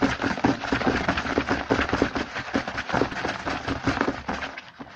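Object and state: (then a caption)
Cardboard snack box. Fingertips of both hands rapidly tap and scratch the front of a small printed cardboard Hanuta snack box, first held and then lying on a table. Quick, irregular dry taps with a hollow tone around 280 Hz mix with a crackly scratching texture that fades slightly toward the end.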